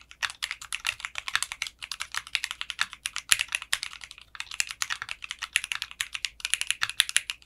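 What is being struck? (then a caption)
Mechanical keyboard with plastic keycaps and case. Fingertips type steadily on a mechanical keyboard with clear pink polycarbonate keycaps and a translucent case. The result is a rapid stream of short, bright clicky keystrokes with no lingering ring, interrupted by brief pauses.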